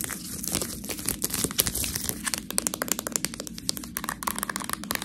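A full clear plastic package of fresh tortellini is held in both hands and scratched and squeezed with long nails. The result is dense, bright crinkling and crackling, with rapid sharp clicks over a steady rustle throughout.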